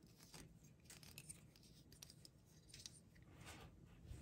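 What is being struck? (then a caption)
Small hard plastic toy figure. A small solid plastic toy figure with a hard yellow box-shaped head is held in the hand and tapped and clicked with long painted nails. Quick, dry, bright clicks and scratchy ticks come in a steady, uneven stream over a low, soft background rumble. Each click dies away almost instantly.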